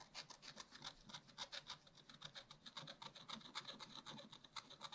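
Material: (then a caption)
Waxed paper. A wooden stylus rapidly scratches hatching strokes into a round tree on a page of black wax-coated scratch-art paper in a spiral-bound pad. The result is a quick, uneven train of dry, bright scratching strokes, each a short rasp with a prominent hiss centred near 3.6 kHz and little low end.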